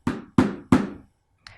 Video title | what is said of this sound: Arte - 1.º ano - aula 09 - 16/06 | Vamos pegar uma colher de pau lá vamos bater na bacia ... parece um som abafado